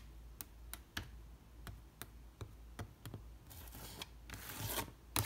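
A long red fingernail taps and scratches on an old, weathered wooden trunk studded with metal rivets. Twelve sharp, dry taps ring out with quick decay over a low hum, and bright, hissy scratching sweeps across the wood toward the end.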